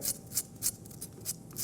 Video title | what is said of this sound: Fabio's Kitchen: Episode 38, "Salmon & Creamed Spinach" | listen how crispy the skin is